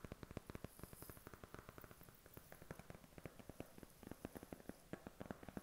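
A thin, hollow, flat white cardboard eyeshadow palette box, held in hand, is tapped with short fingernails. About 29 quick, dry, dull taps land in an uneven, rapid run, each dying almost instantly. A faint steady hiss sits underneath.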